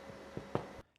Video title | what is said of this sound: Cooking with Struan - Half and half seed loaf | if it sounds hollowed that means the wet dough in the middle is cooked through and it's ready to be put onto a cooling rack